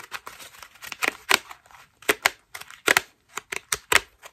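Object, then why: Foam bath loofah. A hand-sized white foam loofah made of ruffled soft foam strips is held in both hands and scratched and squeezed with long pink acrylic nails. It makes a series of short, dry, crinkly scratching bursts, bright and hissy with no low end. Softer rustling fills the gaps between them.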